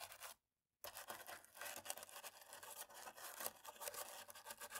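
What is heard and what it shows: A cotton-tipped stick scrapes along the gaps of the top row of keys on a dirty black plastic laptop keyboard, while the other hand rests on the palm rest. The result is a quiet, bright, continuous scratchy rasping, broken by a brief silence just after the start.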